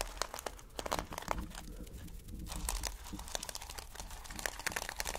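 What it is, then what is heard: Plastic sequin fabric being scratched. Fingers rub and scratch over a reversible flip sequin fabric sheet made of plastic sequins. Dense, bright clicking and crinkling ticks come quickly and irregularly over a steady low hum, each tick dying out almost at once.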